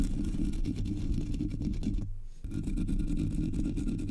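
Long nails scratch the sides and top of the black, hollow metal mesh grille on a Blue Yeti microphone. The result is a dense, continuous low rumbling scrape with rapid textured strokes, concentrated in the deep bass. It drops out briefly just after two seconds, then resumes at the same level.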